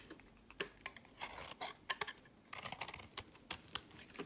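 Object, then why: Bar of soap cut with a knife. A knife shaves curls and crumbs off the corner of a solid tan-olive soap bar held in the hand. About a dozen crisp, dry scraping and cutting strokes come one after another, bright and high with almost no low end. Each stroke stops dead with no ring.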